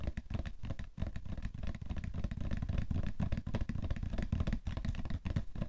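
A hollow cardboard tissue box, held at its sides, is tapped rapidly with nails and fingertips on its side and top. The taps come as a dense run of short, dull, low knocks with almost no ring and no bright content.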